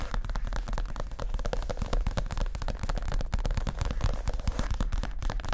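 Fast fingertip tapping with both hands on a soft, stuffed white leather (possibly faux) padded chair seat cushion. The result is a dense, continuous stream of dull, low thumps with almost no brightness, each tap dying away almost instantly.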